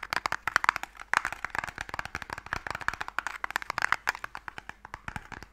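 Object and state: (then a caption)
Wooden stick box, fingernail scratching. Fingernails scratch along a small, closed, pale wooden Mikado box, a hollow box that holds sticks. The result is a rapid, uneven series of short, dry, crackling scratches. They are bright mid-toned with almost no low end and no ringing.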